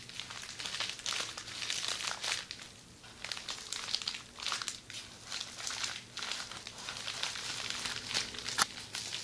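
A roll of red plastic bubble wrap, rolled into a hollow tube and held in both hands, is scratched and squeezed by long nails. The sound is a steady, bright crinkling and crackling with quick bursts of small pops and no low rumble underneath. It rises and falls in soft waves throughout.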